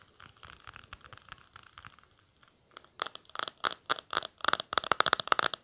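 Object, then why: Small plastic cream tub. Short nails scratch the lid of a small round white plastic aloe vera cream tub with blue print. A soft, faint scratching for the first few seconds turns into louder, crisp, bright scratches, each short and dry, with a hollow plastic tone around 1.3 kHz and no low end.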